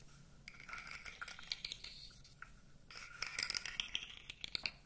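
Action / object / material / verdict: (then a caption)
scrape / segmented plastic toy / plastic / none. A blue segmented plastic fidget toy about 20 cm long, with hollow segments, is flexed and rubbed with the fingers so the segments click. Bright, scratchy rubbing comes in two bursts, dotted with sharp, dry clicks, and there is almost no low end.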